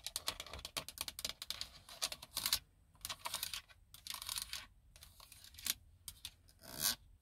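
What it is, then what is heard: Plastic car console buttons. Long nails tap and scratch the plastic buttons and silver trim of a car's center console control panel. Fast, bright clicks and ticks come in clusters, mixed with short scraping strokes and brief pauses between bursts.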